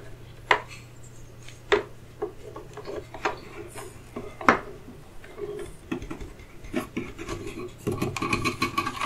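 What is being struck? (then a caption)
Turned wooden chess pieces in a wooden box. Fingertips and nails rub, scratch and tap across solid turned wooden chess pieces, light and dark, sitting in the felt-lined trays of an open wooden chess case. Soft scraping and rasping fills the clip, broken by sharp, dry wooden taps that fade almost instantly. Toward the end, the rubbing grows busier and brighter.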